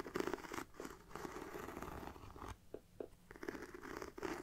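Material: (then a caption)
Faux leather. Fingertips and nails scratch the textured front of a hollow black pebbled faux leather mini backpack near the zipper and webbing. Close, dry rasping and crackling bursts come in uneven strokes, with a body around 370 Hz and a bright scratchy edge. Brief quieter gaps fall mid-clip before the scratching picks up again.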